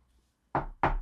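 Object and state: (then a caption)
Wooden table knocked. A wooden table is knocked twice with a short pause between the blows. Each knock is a dull, hollow thud with a low body and a quick decay, and a faint high tone appears briefly at the end.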